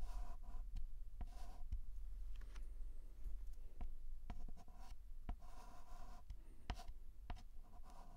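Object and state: Chalk writing on a chalkboard.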